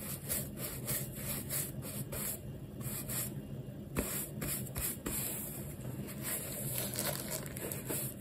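A textured rubber shoe sole, held in the hand, is brushed dry with a large wooden horsehair brush. The result is a steady, soft scratchy rubbing made of repeated bristle strokes, with a low body and faint bright hiss.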